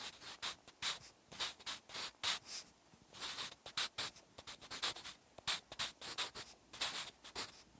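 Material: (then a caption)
Paper. A wooden graphite pencil writes a line of Korean handwriting on a large white paper notebook page resting on a solid backing. Many short strokes scratch bright and hissy against the paper, separated by brief pauses.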